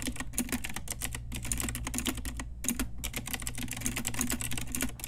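Long nails and fingertips type steadily on a pink Ajazz retro typewriter-style mechanical keyboard with round plastic keycaps. Its rapid, overlapping clicky clacks are bright and crisp over a steady low hum.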